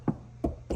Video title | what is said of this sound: Duramax Soundproofing Upgrade LB7 LLY LBZ | when I knock on it sounds nice and solid everywhere